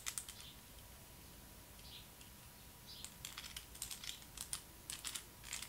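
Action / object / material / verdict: tap / small hard plastic toy roller skate / plastic / none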